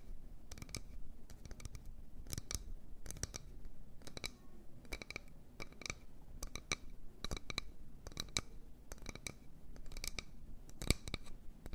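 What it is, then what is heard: Wooden bowl. A wooden bowl is tapped and scratched in quick, irregular bursts. Short, dry clicks and scratchy strokes carry a bright, crisp edge with no ring after each contact, over a faint low rumble.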